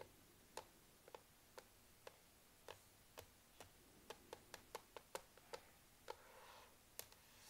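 Long nails tap rapidly on the solid black plastic palm rest of a laptop, to the right of the touchpad, giving seventeen short, dry clicks at an irregular pace in a quiet setting. A brief soft rustle rises between the last few taps.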